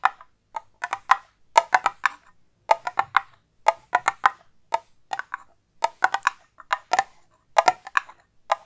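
A hollow, cylindrical silver metal tin with a lid is held close to the mic and tapped quickly with long acrylic nails. About thirty short, dry, clicky taps land in quick irregular bursts, with a hollow tone around 900 Hz and bright nail ticks on top. Each tap dies away almost at once, leaving brief silences between the bursts.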